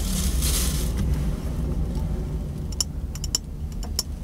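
An empty, hollow, clear glass mason jar of medium size is held in one hand while the fingertips and nails of the other hand tap and scratch its side and rim. A bright, scratchy rasp fills the first second over a steady low rumble. It is followed by several sharp, clicky taps with a brief, high glassy ring.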